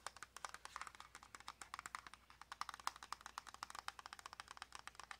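Long nails rapidly tap a small, hollow white cardboard press-on nail box with a clear plastic window. Around forty quick, dry, clicky taps come in an uneven stream, each with a hollow mid-pitched knock and a bright edge. Every tap dies away almost instantly at a quiet level.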